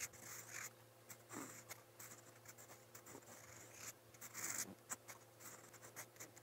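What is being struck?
Metal pen nib on paper notebook page.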